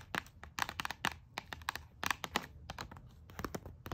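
Long nails tap and scratch along a pink plastic hairbrush and comb set sealed in a blister pack, which lies on a paper bag. Quick, dry plastic clicks and crinkly scratches come in uneven bursts, bright with a crisp hiss on top. Each sound stops almost at once with no ring.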